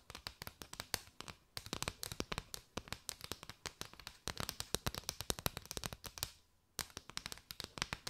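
Long white nails tap and scratch across a curved bundle of striped hollow paper straws. The result is rapid, dry, bright clicks with crisp, papery scratching between them. The tapping pauses briefly twice before resuming.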